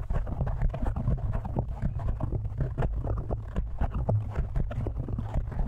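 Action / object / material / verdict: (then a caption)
tap / foam microphone windscreen / foam / none. Fingertips of both hands quickly tap and scratch a black foam windscreen on a microphone. The result is a dense, continuous stream of dull, muffled thumps and rustles, heavy in deep low end with almost no brightness. Each touch dies away almost instantly.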